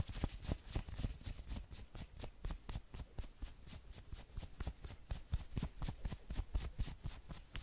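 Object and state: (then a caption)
Knit sweater being scratched. Fingernails scratch fast along the arm and shoulder of a worn maroon knit sweater, making about 30 quick scratching strokes at roughly two per second. Each stroke is a short, bright, scratchy burst over soft low rubbing thumps, and the sound stops almost at once with no ring.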